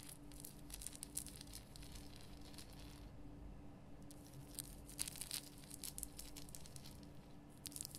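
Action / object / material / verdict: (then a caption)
scrape / rock-salt lamp / rock salt / none. Long painted nails scratch the rough surface of a large, solid, lit pink Himalayan rock-salt lamp, making quiet, dry, bright crackling and gritty scraping bursts. The scratching briefly eases around the middle, and a steady low hum runs underneath throughout.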